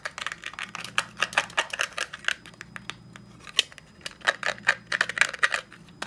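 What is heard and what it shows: A closed black plastic and metal desk stapler with a textured black plastic top is held in the hand and tapped and scratched with fingertips and short nails. Quick, irregular bursts of sharp, dry clicks and scraping ticks come in uneven clusters, bright and very short with almost no ring, over a faint low hum.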